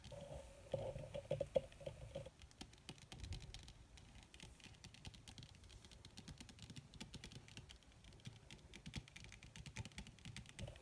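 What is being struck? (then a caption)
Leather surface. Long red fingernails on both hands tap rapidly on a flat, black, crinkled leather or faux leather surface. The result is a quiet, dense patter of short, dry clicks that fades almost instantly. A faint steady tone sits underneath in the first two seconds and again at the very end.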